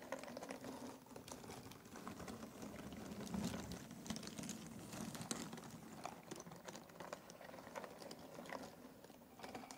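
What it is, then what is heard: Cardboard jigsaw puzzle pieces. Fingertips rake across a pile of loose, thin cardboard jigsaw puzzle pieces in an open box. The result is a quiet, continuous patter of dense, soft clicks and rustles with bright crisp ticks over a low warm body. The level stays steady throughout.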